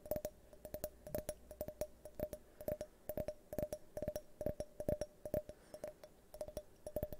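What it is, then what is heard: Glass tumbler, empty. An empty, hand-sized, multicolored tinted glass drinking tumbler is tapped with fingernails while held close to the microphone. Quick, irregular clicks come in uneven bursts, each giving a short, bright glassy ping around 600 Hz that dies away almost at once.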